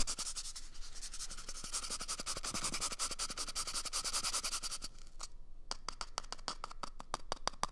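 A small, empty, hollow brown cardboard toilet paper tube is held at the microphone's ear and rapidly scratched with fingernails. It makes a dense stream of dry, bright, crackly scratches. After a brief quiet gap near the five-second mark, the scratches continue more sparsely, each sharper and more separate.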